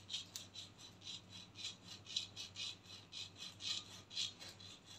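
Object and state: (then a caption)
Plastic aerosol cap being scratched. Long painted nails scratch the hollow, textured black plastic cap of a body spray aerosol can, with the can tilted forward. About ten soft, bright, raspy strokes sound at roughly two per second, each a short high-pitched scrape with little low end and almost no ring.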